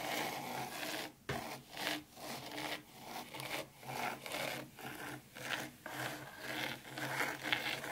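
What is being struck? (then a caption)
Fine sand in a shallow tray. Long pointed pink nails scratch and drag through fine dry white sand in a shallow black round tray, leaving wavy grooves. Each stroke gives a soft, gritty, bright scraping hiss that swells and fades, repeating about twice a second in an uneven rhythm with almost no low end.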